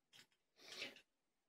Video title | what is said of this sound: [16] How old is your padlock? | I don't hear any shaking no any rattling noises in there when I shake it